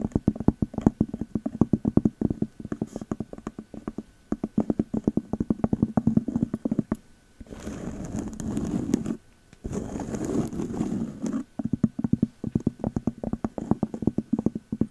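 A round, flat cork lid sitting on a glass candle jar is held close and tapped with fingertips fitted with long metal nail caps and rings. The result is a dense run of quick, dry, low-pitched taps. Two stretches of steady, grainy scratching interrupt the tapping.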